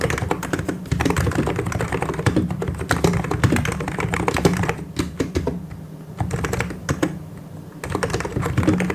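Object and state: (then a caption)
Plastic mechanical keyboard. Both hands type continuously with their fingertips on a full-size mechanical keyboard with white and grey plastic keycaps and hollow key switches. The result is a dense stream of quick, low, hollow clacks that dips into softer, sparser tapping around the middle before resuming at full pace.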